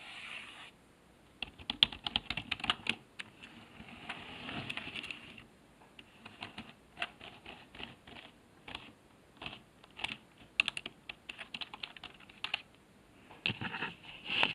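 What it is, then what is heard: Plastic computer keyboard being typed on. Fingertips type on the letter keys of a black plastic HP keyboard resting on a desk. Bright, dry clicks come in uneven bursts separated by short pauses, each keystroke dying away almost at once with very little low end.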